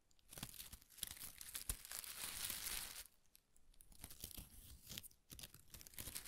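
A ball of thin pastel paper shreds is held in one hand while the other hand's fingertips pull and rub single strips. It makes soft, bright crinkling and tearing-like rustles that swell into a dense, steady rasp, drop briefly quiet around three seconds, then return in shorter bursts.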